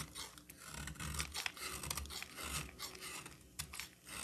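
A solid green bar of soap held in the hand is shaved with a utility knife blade. Bright, dry scraping and rasping strokes run continuously, with short sharper crackles as the blade peels off thin curls of soap.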